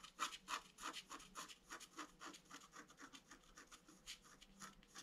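A thin wooden stylus, held in the fingertips, scratches across a flat A4-size scratch-art sheet with a black coating over colored foil paper. The sheet lies on a white table and is held down by the other hand. A rapid, somewhat uneven run of short, dry, bright scratching strokes follows, each dying away almost instantly, at a quiet level.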